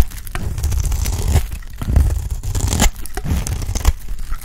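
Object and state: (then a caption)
Dry soap bar being shaved. A utility blade shaves and scrapes a round, dry, solid cream soap bar held in the hand. The sound is a steady, dry tearing and crinkly scraping, heavy in low rumble, with brief brighter bursts as each stroke bites. The strokes blend into one another with no ring afterward.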